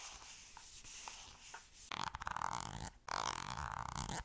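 Long nails tap and scratch the surface of a green squeezable plastic cosmetic cream tube held in the hand. Soft, sparse ticks give way after about two seconds to loud, dense crackling scratches with a bright, hollow plastic tone near 900 Hz. There is a brief pause just before the three-second mark, then the scratching resumes to the end.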